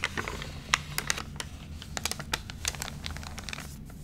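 Fingertips rub and press the crinkled pages of a thick, water-wrinkled glossy paper magazine lying open, damaged by water. Dry, bright crackles and sharp little snaps pop out over a steady low hum, each dying away at once.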